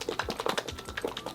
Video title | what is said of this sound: 화장 망하는 이유? 화알못 필수 시청🔥눈 커보이는 메이크업 화장법 (눈썹·애교살·밑트임·베이스· #라니쥬 선크림) - 미소정 | 흔들어 보면 거의 수분 로션 같은 제형인데요